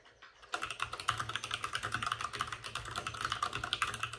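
Both hands type rapidly with short-nailed fingertips on a white full-size plastic mechanical keyboard with plastic keycaps and RGB backlighting, resting on a desk with a padded wrist rest. After a brief quiet moment, a steady stream of crisp, clicky keystrokes begins, with a bright tap around 1.2 kHz and a soft low thud beneath. Each key press is short and dies away almost instantly.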